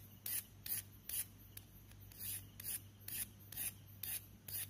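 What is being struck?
Chalk stick scraped by a knife blade.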